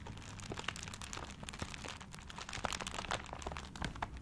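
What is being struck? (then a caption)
Gift wrapped in paper. A paper-wrapped gift is held close to the microphone while fingertips scratch and crinkle its wrapping paper. A dense, continuous crackle of crisp, bright crinkles is broken by sharp little snaps that die away instantly, over a soft low handling rumble.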